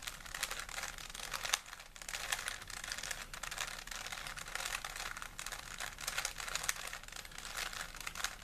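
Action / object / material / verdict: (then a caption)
scrape / plastic 3x3 puzzle cube / plastic / none. A small solid plastic 3x3 Rubik's cube is held in both hands while fingertips twist its layers. It gives a dense, steady stream of rapid, crisp plastic clicks and rattles with a bright, dry sound and almost no low end.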